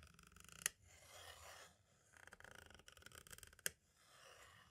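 A pointed tool tip scrapes and rubs the label and edge of a small, hollow white plastic audio cassette shell. Quick runs of light, bright ticking alternate with softer, smoother rubbing swishes. Two sharp, dry clicks stand out, one near the start and one near the end.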